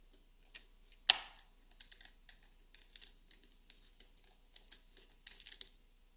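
Long nails scratch the carved lid of a small hollow wooden box and tap its sides, giving quick, dry clicks and scratchy patters. Around twenty short, bright taps and scrapes are heard with almost no low end, plus one sharper, louder knock early on. Each sound dies away almost instantly.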